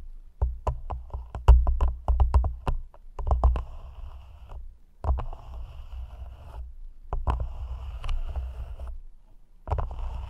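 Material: Plastic.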